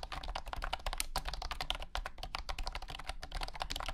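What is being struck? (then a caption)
Plastic keyboard with round keycaps. Fingertips type continuously on a compact white and blue plastic wireless keyboard with round hexagonal honeycomb keycaps and a hollow body. The result is a rapid, steady stream of bright, short plastic clacks over a low hum.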